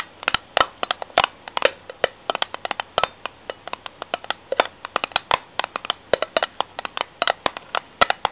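Long nails tap and scratch the bare metal of a ridged steel lid on the end of a cylindrical tin can. About 45 quick, dry metallic taps with very short ring, centered near 550 Hz and extending into bright highs, are spread across the clip. Soft scratching fills the gaps between them.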